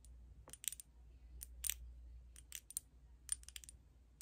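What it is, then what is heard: Glass foundation bottle. A filled glass foundation bottle, held sideways, is tapped with long red nails in a quick, uneven series of sharp, bright clicks. Each tap is very short with almost no ring, over a faint, steady low hum.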